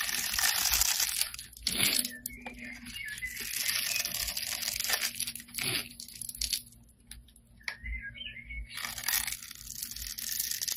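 A metal blade scrapes and cuts thin grid lines into the surface of a solid red bar of soap with an embossed logo, held in the hand, shaving off crumbly flakes. Bright, dry crunching and scraping strokes come in quick irregular bursts with short quieter gaps between them.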